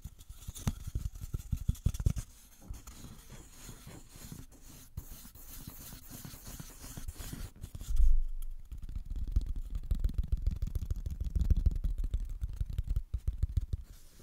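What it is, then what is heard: Empty cardboard tube. An empty, hollow brown cardboard toilet paper tube about 10 cm long is held close to the mic and tapped and rubbed with fingertips and nails. The result is a dense run of soft, hollow low thumps and scratchy rubbing, with a louder, deeper thump near the middle before the quick tapping resumes.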